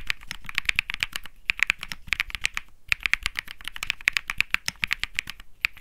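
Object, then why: Mechanical keyboard with plastic keycaps. Fingertips type steadily on a compact 65% Think 6.5 mechanical keyboard with Bsun Lollipop switches and plastic keycaps, resting on a grey mat. The result is a rapid run of crisp, bright clacks centred around 2.3 kHz, each dying away almost instantly, with a light low thud under the strokes. The typing pauses briefly near 1.5 and 2.8 seconds.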